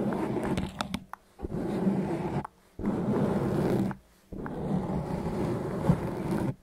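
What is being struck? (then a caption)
Foam microphone windscreen. Fingertips and nails rub and scratch the surface of a large, soft, porous grey foam windscreen covering the capsule of a handheld recorder microphone. Dense, muffled, rumbling scraping comes in three long bursts separated by brief silences, with a few sharper scratches near the start.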